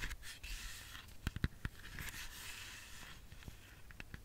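Long fingernails tap sparsely on a whole, solid red apple. Soft, dry scratchy rustling runs throughout, broken by a few sharp, short clicky taps that die away almost instantly with a dull low thump beneath.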